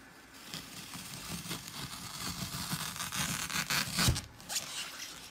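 A dry, dark green floral foam brick, its top covered in bands of blue, red, green, pink and purple glitter, is crushed by fingertips with painted nails pressing into its front edge, leaving wavy dents. Dense, bright crunching and crackling builds through the clip, with sharper bursts near the end.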